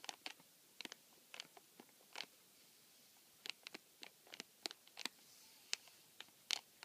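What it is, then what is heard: Cardboard tissue box with plastic film window. Fingertips and nails scratch and rub the thin clear plastic film window over the dispenser slot of a flattened, empty white printed cardboard tissue box (Joy! Botanica 170) held on a table. Seventeen quiet, brief, crisp crackling scratches come in irregular bursts, bright and high with almost no low end and no ring between them.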